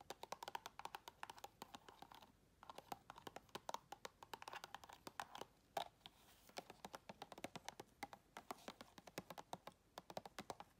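Long red acrylic nails tap and scratch quickly on the round flat lid and side of a full, round, clear plastic tub. The result is a rapid, uneven run of sharp, dry clicks mixed with brief scraping strokes, each tap centered in the mid range around 800 Hz with a bright edge and almost no ring. A few short pauses break the stream.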